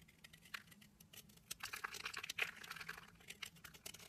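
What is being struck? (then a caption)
Solid soap bar scraped with a knife blade. A knife blade scrapes and shaves the surface of a small pink, purple and green layered solid soap bar, held between fingers with dark nails, into powdery flakes. The result is a quiet, dense run of crisp, high scratching and crinkling ticks with almost no low end. Each tick ends instantly.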